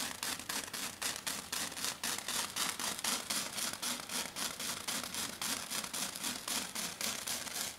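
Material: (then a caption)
Foam. Long dark fingernails scratch fast and hard across a flat silver glitter foam sheet, making a dense run of bright, rasping strokes. The strokes repeat at a quick, fairly even pace for the whole clip.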